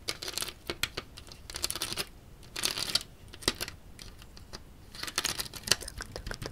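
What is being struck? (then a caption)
Large built model of ABS plastic bricks. Fingertips and nails tap and scratch along the studded surface of a large grey LEGO Kylo Ren shuttle built from ABS plastic bricks, its hollow wing panel held upright. The result is bright, dry plastic clicks mixed with scratchy, rustling bursts that stop almost instantly, with little low end.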